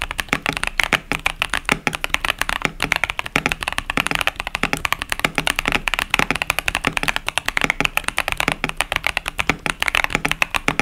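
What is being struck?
Plastic mechanical keyboard with tactile switches.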